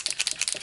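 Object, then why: Plastic paint marker with a mixing ball inside. A genuine white Posca 1M paint marker with a plastic body is shaken, and the small mixing ball rattles inside it. The ball makes a quick series of sharp, bright clicks, and the rattle is clearly audible.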